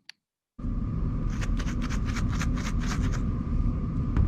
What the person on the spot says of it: if you shake it it actually sounds like a maraca